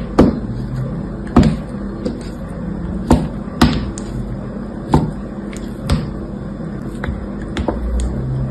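A utility knife with an orange handle slices thin, crisp pieces from a rectangular block of dried blue soap with a speckled surface, held in one hand. Sharp, short cuts with bright clicks come at irregular intervals over a steady low background hum, each dying away quickly.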